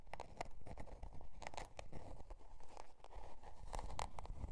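Long dark nails scratch a spiral-bound notebook's scale-pattern cardboard cover as it rests on faux fur. The result is a dry, crinkly scratching in uneven bursts, with a dense low rumble underneath and brief bright streaks on the sharper strokes.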